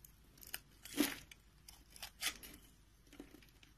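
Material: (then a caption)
Soap. A green-handled utility knife scrapes cubes off a rectangular, solid, palm-sized beige soap bar with a scored grid surface, and crumbs fall away. Dry, crisp crunching and tearing scrapes come in uneven bursts with bright, hissy edges over a quiet background, the two loudest passes standing out among softer ones.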